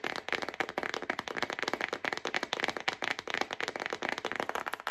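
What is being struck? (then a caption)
Stack of paper envelopes. A yellow-bordered paper envelope pack, a thick stack of paper held upright in both hands, is tapped and drummed on the front with long acrylic nails. The result is a rapid, steady stream of dry, crisp clicks with no low end and almost no ring, concentrated in the bright midrange.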